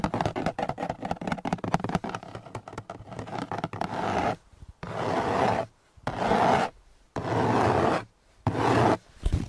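Fingertips rub and scratch across the textured surface of a large, hollow, gray hard-plastic seat-back panel with a storage pocket on the back of a car's front seat, recorded close on a handheld microphone. The first four seconds bring quick, uneven scratching and tapping, followed by several longer, steady rubbing strokes separated by short pauses, all giving a dry, papery scraping sound.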